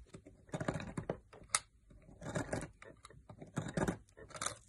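A metal knife blade shaves flakes off a solid green opaque soap bar held in the fingers, and the shavings pile up. The cuts come as short, crisp scraping and crackling bursts with a brief bright peak, separated by quiet gaps.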